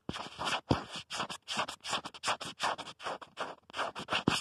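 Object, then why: Plastic phone case. Fingertips and nails scratch and tap the back of a black plastic protective case on a smartphone, near the camera. A quick, uneven run of about twenty short, dry, bright scratchy bursts, each separated by brief gaps. Two harder taps near the start and the end add a dull low knock.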